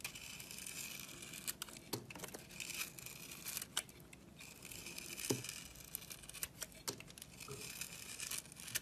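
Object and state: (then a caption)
Bar of soap being sliced. A box-cutter blade slices thin pieces off the sides of a solid, red-crusted bar of soap held in the hand. The cutting makes quiet, bright, crisp scraping and crackling, with sharp little clicks scattered throughout as each slice breaks away.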